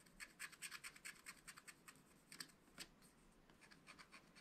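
A wooden stylus scratches the black wax coating of a small spiral-bound scratch-art pad, its coated paper sheet lying flat on a table while the other hand steadies the pad. The result is a quick, uneven series of short, dry, bright scratching strokes with almost no low end. The strokes come in dense bursts, then thin out toward the end.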